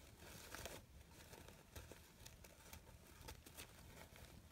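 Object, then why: Artificial fabric flower petals. Long pink nails scratch and rustle the crinkled thin fabric petals of a hand-sized artificial red poppy flower with yellow stamens. The result is a steady, soft crinkling and rustling, broken by brief, brighter crackly scrapes over a low, muffled background.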